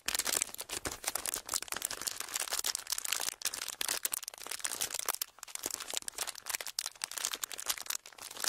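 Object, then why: Clear plastic wrapper. A folded clear plastic wrapper is held near the mics and squeezed and crinkled with fingertips. The result is dense, bright crackling made of many short, sharp snaps, with almost nothing in the low end, running steadily for the whole clip.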